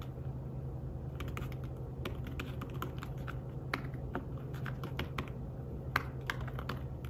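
Fingertips tap the keys of a slim fabric-covered tablet keyboard while typing, producing a run of soft, quick, dry clicks. The clicks come in uneven bursts with brief pauses, each one short and bright, over a steady low hum.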